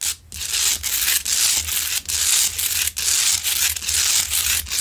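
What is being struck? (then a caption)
Large salt rock lamp. Long nails scratch near the top of a large, solid, rough pink Himalayan salt rock lamp that is lit. The result is a run of bright, dry, hissy scraping strokes with brief pauses between them. The sound has almost no low end and no ring.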